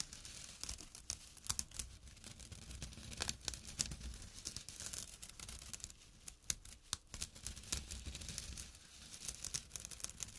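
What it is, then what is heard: Burlap drawstring bag. A small, empty jute burlap pouch with a drawstring, resting on dark cloth, is scratched with fingertips and short nails. The result is a steady stream of dry, bright, rasping scratches and crisp crinkly bursts with no ring, over a faint low rumble.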